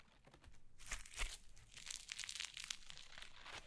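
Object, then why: Foam slime. Yellow foam slime is held in both hands, squeezed and pulled apart with the fingers. It makes quiet, bright crinkling and crackling bursts, with two stronger squelching crunches near the start, then a steady run of softer crackles to the end.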